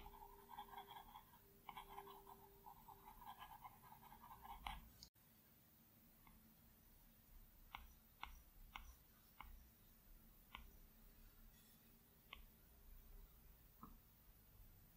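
A plastic Apple Pencil tip strokes and taps across the large, flat glass screen of an iPad Pro. The first five seconds are dense, scratchy drawing strokes with a mid-range squeak, cut off by an abrupt silence. After that come sparse, sharp clicky taps over a faint steady low hum.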